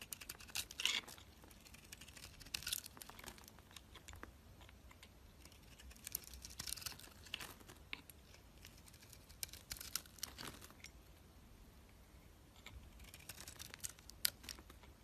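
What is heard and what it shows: A utility knife blade shaves thick curls off a solid white soap bar with a green marbled coating, held in the hand. Quiet, bright, crisp scraping and crackling comes in bursts of many tiny clicks, with brief pauses between strokes.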